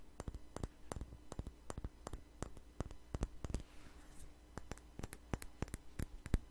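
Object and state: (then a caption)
Glass perfume bottle. Long nails tap and scratch a small glass perfume bottle with a flower-shaped cap. Sharp, dry clicks come in quick irregular bursts, with a soft scratching passage near the middle. A steady low hum sits underneath throughout.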